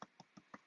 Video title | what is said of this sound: A super simple recipe for Focaccia and Pizzas | when you tap it it should sound pretty hollow